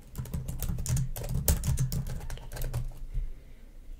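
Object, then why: Plastic laptop keyboard keys. Long nails type and tap on the keys of a black plastic laptop keyboard, making a quick, irregular run of light clicks. Each click is short and bright over a steady low rumble, and the tapping slows and fades toward the end.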